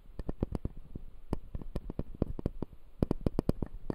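A clear acrylic dental model with resin teeth, held in both hands, as fingertips and nails scratch along the upper teeth. This makes a rapid series of short, dry clicks and scrapes with a low-heavy body and bright tips. Each sound dies away almost instantly.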